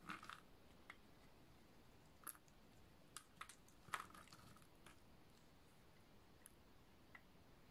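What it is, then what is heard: Dry bar soap being shaved. A snap-off utility knife blade shaves slices off the face of a solid, dry lilac oval bar of soap. Short, crisp crunching snaps with a bright edge come at uneven intervals over a quiet, steady hiss, each dying away almost instantly.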